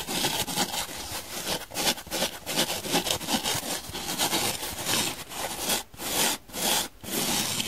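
Long nails scratch and rub the porous surface of a dry, hand-sized blue donut-shaped foam sponge, solid foam with a central hole. The sound is a steady, bright, hissy scraping with quick rasping strokes, broken by a few short pauses near the end.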